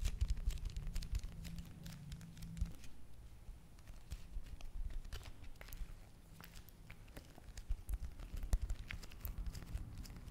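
A small, flat, red printed foil-and-plastic face mask sachet, thin, hollow and sealed, is held in both hands and tapped and scratched with long manicured nails. Soft, crisp clicks and light crinkling scratches repeat quickly over a quiet, steady low hum.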